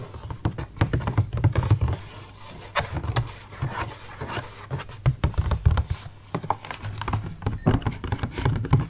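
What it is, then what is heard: Plastic grape punnet. Fingertips tap and pat the lid of a palm-sized, hollow, clear rigid plastic clamshell punnet full of green grapes. The result is a quick, uneven run of dull, low, hollow thumps with soft crinkly rubbing between them. Each tap dies away almost at once.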